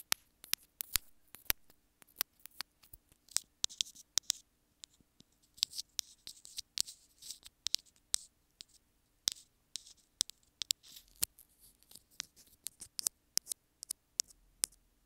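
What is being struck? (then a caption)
Small plastic earphone inline remote. Long nails tap and scratch along a small white plastic inline remote with a hollow housing on an earphone cable. The result is a quiet, irregular run of sharp, bright, dry clicks with no ring, mixed with soft, hissy scraping between the taps.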